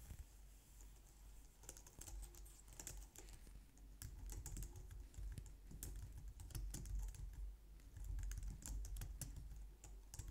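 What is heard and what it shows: A white low-profile plastic wireless keyboard resting on a glitter mat is typed on with fingertips and long nails. The result is a quick, uneven stream of light, bright clicks and taps, with a steady low hum underneath.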